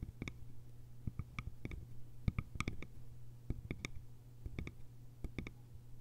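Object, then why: Small hollow bamboo container with lid. Long nails tap the sides of a small, hollow, cylindrical bamboo container with a lid, producing a quick, irregular series of short, dry clicks. Each tap rings only for an instant, with bright overtones over a steady low hum that persists throughout.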